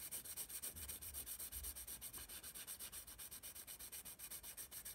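A graphite pencil scratches rapid back-and-forth shading strokes across the paper of a spiral sketchbook held in hand. The result is a quiet, bright, papery rasp that pulses in a fast, fairly even rhythm of dozens of short strokes, with a faint low rumble underneath.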